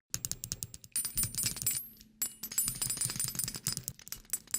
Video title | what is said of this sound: ASMR Trigger Compilation #Echo #layeredsounds #reverb | this is metal this is metallic